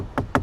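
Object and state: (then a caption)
Soft padded car door armrest. Two soft, dull knocks on the padded driver's door armrest of a 2022 Volvo XC90 T6 Inscription AWD. Each knock is muffled and brief, with little high-end content and a quick fade. The thud confirms the armrest is very soft, padded material rather than the hard surface many vehicles have there.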